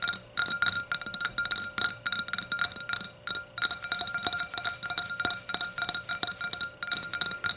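A hurricane glass is tapped repeatedly, giving a quick run of bright, high glassy chinks and clinks. Each tap is short with very little ring and almost no low end.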